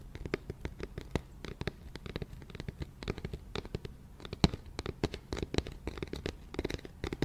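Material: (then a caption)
Cardboard. An empty, hollow, round white cardboard flower box is turned in the hands while its side and base are tapped with long nails and fingertips. The result is a quick, irregular run of short, dry clicks over a soft, hollow low thump, with almost no ring after each tap.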